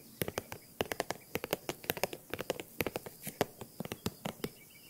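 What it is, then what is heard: Faux leather croc-embossed handbag. Long nails tap and scratch the front panel of a hollow green faux leather handbag with a crocodile-embossed surface and a top handle, held close up. About 28 quick, dry, bright clicks come in an uneven rapid patter, each dying away almost at once, with a faint hollow mid-pitched tone and light scratchy hiss between them.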